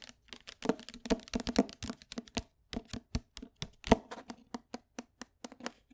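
Long nails tap on the cover and page edges of a closed paperback book in quick, uneven bursts. Each tap is a short, dry click with a soft papery thump and bright nail ticks, dying away almost instantly. The tapping stays fairly quiet throughout, with a few sharper accents.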